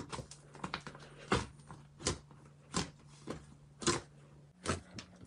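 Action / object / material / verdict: scrape / soft fluffy slime in a glass bowl / slime / none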